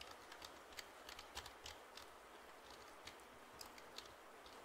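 Fingertips tap the keys of a black plastic computer keyboard held upright in one hand, giving 15 quiet, bright, clicky taps at an irregular pace over a steady soft hiss. Each tap is short and dies away quickly.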